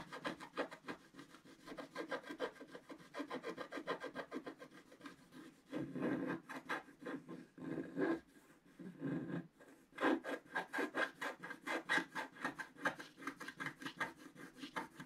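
A wooden stylus scratches across the coating of a flat page of wax-coated scratch art paper in quick, steady back-and-forth strokes. The dry, rasping scrape sits mostly in the low-mid range, with a brief heavier, denser scratching patch near the middle before the fast rhythmic strokes resume.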